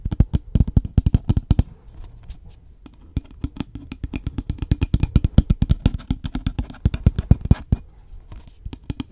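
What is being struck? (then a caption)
Paper takeaway cup with plastic lid. An empty paper takeaway coffee cup with a plastic lid, hollow, is tapped and scratched with fingernails on its lid and body while held close to the mic. Quick, dry, low-pitched taps come in fast bursts. Near the two-second mark they give way to a stretch of softer scratching before the tapping resumes.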